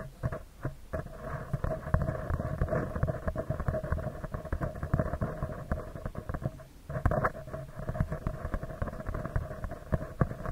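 Fingertips and nails tap and scratch a round, hollow metal mesh microphone grille from both sides. Dense, rapid, close-up crackling taps and scrapes with a heavy, muffled low end continue throughout, easing into a brief quieter gap just before 7 seconds and then resuming.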